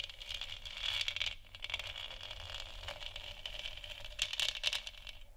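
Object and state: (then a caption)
Plastic moon lamp. Long nails tap and scratch the sides of a large, hollow, textured plastic moon lamp sphere. The result is a dense run of quick, crackly clicks with a bright, hissy edge centered near 3 kHz, and almost no low end. The taps swell louder near the start and again toward the end.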